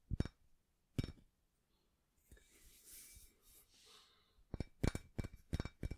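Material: Cast iron.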